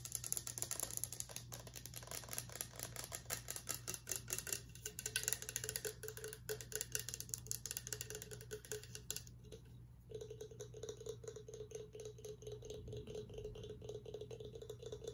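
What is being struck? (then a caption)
Horn drinking mug. A hollow, empty horn-style Viking drinking mug is turned in the hands while its ridged, textured surface is scratched and tapped with nails and fingertips. The result is a quiet, fast, bright ratchet-like scratching with crisp ticks, over a steady low hum. It briefly thins out around the ten-second mark before continuing.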